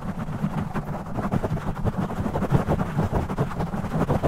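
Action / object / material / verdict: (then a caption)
scrape / foam microphone windscreen / foam / none. Fingers grip, rub and scratch a black foam windscreen on a studio microphone, with the audio sped up 2x. The result is a dense, muffled, low rumbling scrape with rapid uneven bursts and almost no bright content, running continuously without pause.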